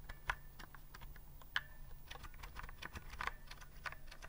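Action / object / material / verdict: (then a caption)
tap / typewriter-style plastic keyboard keys / plastic / none. A retro typewriter-style keyboard with a hollow body and round, chrome-rimmed plastic keys is held upright near the mic while its keys are pressed with fingertips. It makes irregular, dry clicks and clacks, with a few louder, sharper strikes that ring briefly in the midrange, over a steady low hum.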